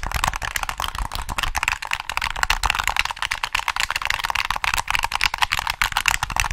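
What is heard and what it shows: Fingertips tap and click the shoulder triggers of a hollow black plastic PS3 controller held top-up. The result is a fast, steady stream of dry, bright plastic clicks and taps that stop short, with a light low thump under them.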